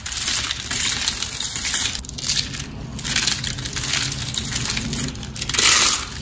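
A pile of thin, dry, hollow blue and green soap curls and crumbled shavings on a white surface is crushed and squeezed by fingertips and palm. A dense, bright crackling crunch runs throughout, swelling in waves with a brief louder burst near the end.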